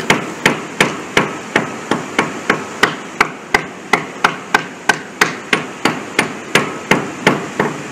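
A worker kneeling on a large, solid concrete bridge deck with a spalled patch taps the concrete with a small hammer, sounding it for delaminations. Twenty-three sharp, bright taps ring out in a steady rhythm, each with a very short ring and a faint high tone.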